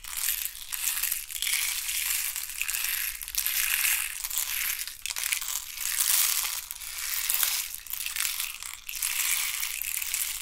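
Fingernails scratch and rub the ribbed sides of a hand-sized, hollow hexagonal box made of thin wooden sticks. The result is a continuous, crunchy crackle that swells and fades in waves. It is bright and dry, with almost no low end.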